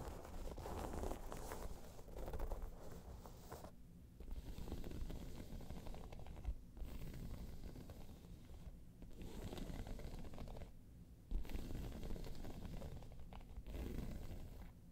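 Long nails scratch and tap across the top of a round tan crocodile-embossed faux leather bag. The result is a dull, muffled rasping that sits mostly in the low range with little brightness, broken by a few short pauses.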